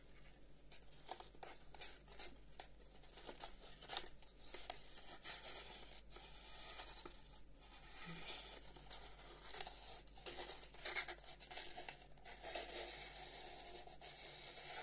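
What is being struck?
Carved wooden incense box.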